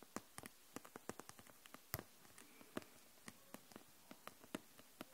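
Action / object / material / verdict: tap / plastic felt-tip markers in a clear plastic pack / plastic / none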